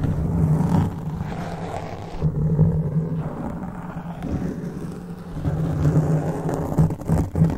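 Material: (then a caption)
Foam. Hands cup a black foam microphone windscreen and scratch it with their fingertips. The result is a dense, muffled, low rumbling scrape with a steady low hum, swelling in irregular bursts and carrying almost no bright content.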